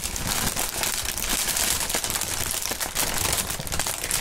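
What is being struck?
Plastic air-pillow packaging film.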